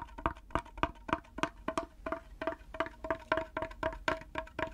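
A small, hollow wooden mini hand drum with a dotted round head sits on a wooden handle, held in one hand, and its head is tapped with natural fingernails and fingertips. A rapid, slightly uneven series of short, dry clicks and taps rings with a hollow, woody tone centered near 1 kHz. Each tap dies away almost instantly.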